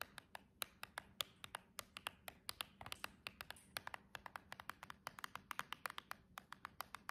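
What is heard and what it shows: Long jeweled nails tap and scratch the edge and end of a silver cardboard nail box in fast, typing-like bursts. About 45 short, dry, bright clicks ring off almost instantly over a faint scratchy rustle.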